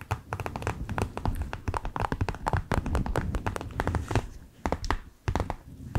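Long acrylic nails tap, scratch and squeeze a flexible clear plastic eye mask filled with green gel beads and edged with a light blue rim. Rapid, dry clicking taps and crinkly scratches come in quick bursts over a soft low thumping, with brief pauses near the end. Each tap is short and dies out almost at once.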